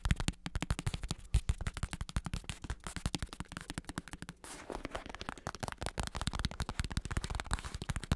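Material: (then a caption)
Synthetic leather. A large black padded bicycle saddle with a smooth synthetic leather cover and red trim, built over a hard plastic shell, is held up in one hand and tapped and scratched on the cover with fingertips and short nails. A rapid, steady stream of dull, low, muffled taps dies out almost instantly, with a brief softer scratching stretch in the middle before the tapping resumes.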